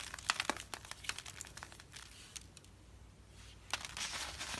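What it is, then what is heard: Dry soap curls crumbling. Fingertips squeeze and crush a dry, brittle carved soap curl, one of several orange-yellow rose shapes and loose curls of thin layered flakes resting on paper. Bright, dry crackles and crunches rise in irregular bursts, easing off in the middle before a last flurry. The curl crumbles into flakes.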